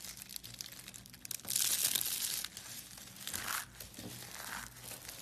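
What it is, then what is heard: Soap shavings being crushed. Fingers with long nails pull apart and crush the layers of a large spiral of thin blue-pink soap shavings cut from solid soap. The result is a dry, bright crinkling and crunching that swells into a loud rustling burst early on, then settles into softer, uneven crackles with a second louder flurry near the end.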